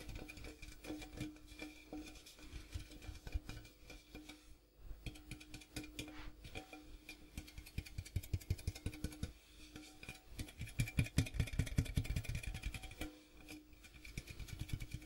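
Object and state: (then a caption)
Metal popcorn tin. Fingertips rapidly tap and scratch the outside wall of a large, hollow, printed metal popcorn tin with a pink-striped side and a gold rim, held close. The quick taps give dull, hollow, low-pitched knocks that die away almost at once, mixed with a soft scratching rasp. The tapping comes in uneven bursts that grow denser and louder toward the end.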